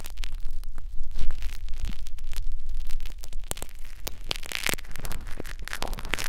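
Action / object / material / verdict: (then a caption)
scrape / silicone ear of a binaural microphone scraped with fine metal wires / silicone / none. Fine metal wires on a blue syringe-style holder scratch and probe continuously inside the canal of a binaural microphone's silicone ear. The result is a dense, close crackling scrape with a steady low rumble underneath and many sharp, brief clicks and bright rasps scattered throughout.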